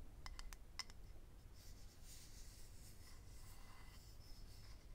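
A small, hollow, rectangular clear acrylic eyelash case, held in the hand, is tapped with fingernails in five quick, bright clicks during the first second. It is then scratched with the nails, giving a soft, steady, high rasping over a quiet low background hum.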